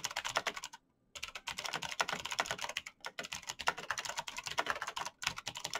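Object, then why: Plastic mechanical keyboard. Bare fingertips type very fast on a black plastic mechanical keyboard with clicky switches. They produce a dense stream of bright, sharp clicks with a brief pause about one second in and another near the end.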